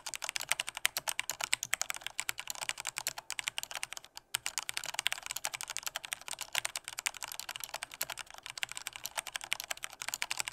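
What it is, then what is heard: Plastic mechanical keyboard being typed on. Fast, hard typing with the fingertips of both hands on a full-size black plastic Corsair K68 mechanical keyboard with Cherry red switches. A dense, steady stream of sharp, bright plastic key clacks with almost no low end pauses briefly around four seconds before resuming at the same pace.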